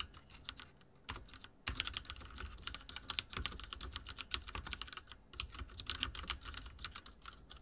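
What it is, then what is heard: Mechanical keyboard with plastic keycaps. Fingertips type very fast on a backlit mechanical keyboard with dark plastic keycaps and a silver frame. The result is a dense, rapid stream of short, bright clacks with a soft low thud beneath each keystroke. The typing is softer at first, then grows louder after a brief pause, with another short break near the end.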